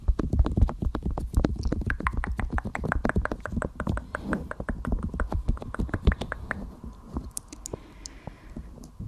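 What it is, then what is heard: Silicone ear of a binaural microphone, tapped and rubbed. The white silicone ear shell of a 3Dio binaural microphone, hollow and mounted on a tripod, is tapped and rubbed with long-nailed fingertips. Dense, rapid, close-up taps and soft rubbing thumps with a deep, muffled low-end rumble are heard throughout. The sound thins out toward the end.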